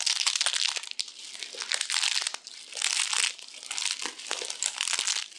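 A large, hand-sized spiral roll of thin pink and green dried soap shavings with a hollow center is held in both hands and squeezed and crushed with long-nailed fingertips, crumbling into flakes. Dense, dry, bright crinkling and crunching comes in several swelling bursts with many sharp crackles and no low end.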